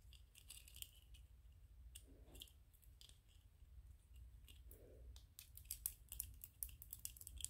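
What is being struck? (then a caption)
3D-printed PLA plastic toy figure. A small white PLA plastic 3D-printed ghost toy is held in both hands while fingernails scratch its ridged surface. Quiet, crisp, bright scratching clicks come in quick bursts over a steady low rumble, with two brief softer rubbing swells in between. The scratches grow denser and sharper toward the end.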